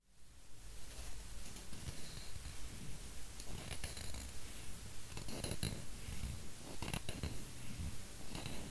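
Fingertips and nails tap and scratch the surface of a flat, round, solid bamboo wooden coaster about the size of a palm, held in one hand. A steady, fairly regular stream of soft, low, woody taps runs throughout, with short, bright scratching bursts breaking through now and then.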